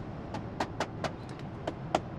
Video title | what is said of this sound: VW ID.Buzz, tente de toit et porte-vélos: le test sur autoroute ! | ça sonne un peu creux presque partout.